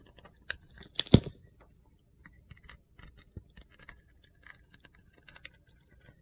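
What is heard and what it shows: A solid bar of soap with a blue glitter coating is held in the hand while a box cutter blade scrapes and carves the coating away. Soft, gritty scraping and crunchy ticks are heard, with a sharper burst of scraping near the first second. The rest is a run of light, scattered cuts and clicks.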